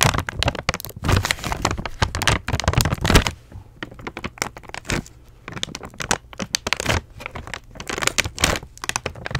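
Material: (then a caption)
Plastic. Long nails tap and scratch the crinkly plastic front of a flat, apparently full Sour Patch Kids candy bag held up in the air. Dense, bright crackling and crinkling fill the first few seconds. The sound then thins into quieter, scattered taps and scratches, with louder crinkly bursts returning near the end.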